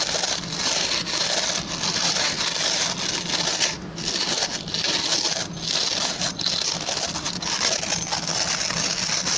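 Fingertips and short nails scratch and rub the plastic pin bristles of a hand-sized oval white plastic brush. The result is a steady, bright, dry scratching rustle with fine crackly texture, dipping briefly in a few spots before resuming.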